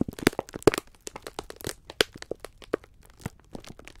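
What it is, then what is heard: Plastic-wrapped pack of sponge scourers. Hands grip, squeeze and rub a full pack of sponge scourers wrapped in clear, crinkly plastic film. The result is a quick, irregular run of sharp crackles and crunchy crinkles, each snapping off almost instantly, with bright edges and a few louder pops.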